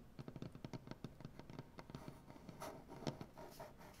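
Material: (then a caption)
Wood. Fingernails of both hands quickly tap and scratch across a solid light wood butcher block tabletop. A fast run of short, dull, low knocks in the first half gives way to softer, smeared scratching with a few brighter scrapes. Each tap dies away almost at once.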